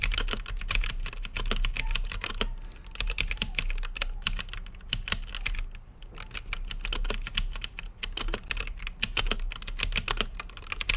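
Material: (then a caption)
Plastic. Fingertips type steadily on an RGB-lit mechanical keyboard with plastic keycaps and a clear acrylic case, making a rapid run of sharp, bright clicky key presses with a steady low hum beneath. The clattering briefly thins out around 2.5–3 and 6 seconds before picking back up, and each press dies away almost at once.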